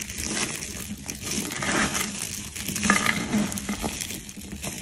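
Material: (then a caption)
Soap. Fingers with long pink nails rub and crush a large pile of orange-yellow crumbled dried soap flakes and curls. A continuous dry, bright crinkling and crunching is heard, with small crisp snaps rising over the steady rustle.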